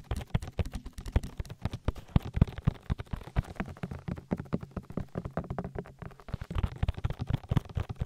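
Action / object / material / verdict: tap / silicone ear of a binaural microphone / silicone / none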